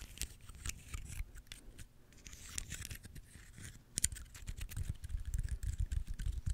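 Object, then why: Pine cone with woody scales. A small, dry brown pine cone with solid woody scales is held in one hand close to the mic while fingertips and nails scratch and flick its scales. Quick, irregular dry crackles and clicks mix with low, muffled handling thumps, growing denser and louder toward the end.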